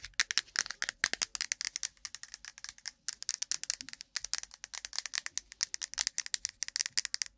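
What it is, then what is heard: Plastic cotton swab case. A plastic cotton swab case is tapped quickly with long nails, giving a rapid, uneven run of about 56 sharp, rattling clicks over roughly seven seconds. The taps are bright and dry, with no ring, and pause briefly only around the three- and four-second marks.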